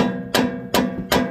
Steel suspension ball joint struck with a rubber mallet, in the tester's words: it doesn't move when you pry on it, but when you hit it with hammer, it's got play